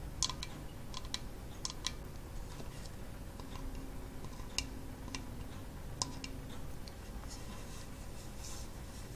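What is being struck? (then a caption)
Coconut shell kalimba with wooden top. Long false nails tap on a small hollow half-coconut-shell kalimba with a painted wooden soundboard, held in both hands, striking the brown coconut shell side and the wooden top rim. The result is a series of quick, dry, bright clicks and taps that die away almost instantly, over a steady low background rumble.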